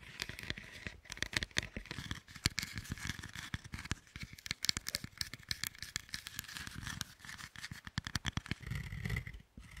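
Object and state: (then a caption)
Dark chocolate bar. Long acrylic nails tap and scratch the segmented top of two large solid dark chocolate bars stacked on a wooden board, then lift and handle the upper bar. The sound is a dense run of quick, dry, bright clicks and scrapes with no ring, plus a soft low thud of handling near the end before a brief hush.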